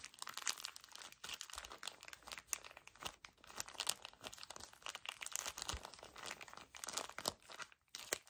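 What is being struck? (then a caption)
Paper tissue pack in thin plastic wrapper. A full, small soft pocket pack of 10 paper tissues in a thin crinkly plastic wrapper is gripped and squeezed by fingertips with short painted nails. It makes a continuous run of quick, dense, bright plastic crinkles and crunches with almost no low end. The crinkles come in close uneven bursts and stop dead with each release.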